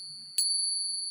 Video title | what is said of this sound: Alamin sa tunog pa lang malalaman mo kung Silver o Hindi, TRADITIONAL SILVER TESTING o Ping Test | Naiiwan ang kanyang echo